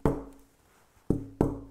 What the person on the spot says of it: the tap tone is not quite as clear, but very full. So much duller than the Honduras rosewood.